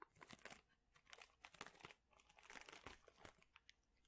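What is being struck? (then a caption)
Plastic bag full of thin wooden chips. A large clear plastic bag full of thin, flat wooden chips is squeezed and crinkled with both hands. Dense, bright crinkling and dry crunching come in quick irregular bursts, swelling and fading with short pauses. There is little low end and almost no ring after each crackle.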